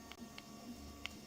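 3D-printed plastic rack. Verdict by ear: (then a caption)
Soft. A freshly acetone-vapor-treated 3D printed plastic bottom rack for a coil support former, still soft like rubber, is tapped with something. Three short, dull taps with almost no ring sound over a faint steady hum. The plastic is still uncured and will ring like a bell once it has hardened.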